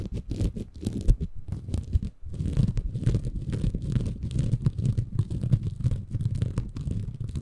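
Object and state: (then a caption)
Bamboo fiber sponge. Fingertips scratch and squeeze a small, soft, compressible green porous bamboo fiber sponge held in both hands above a Tascam recorder. The result is a dense, continuous, low, muffled scratching and crackling rustle, with a brief quiet dip around two seconds before the scratching resumes.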